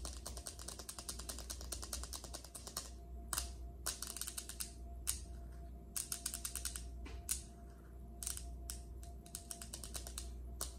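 Long acrylic nails on both hands rapidly tap and scratch a large, solid, polished speckled granite kitchen countertop. A dense flurry of sharp, bright clicks with almost no ring gives way to sparser tapping bursts and scattered single taps, all over a steady low hum.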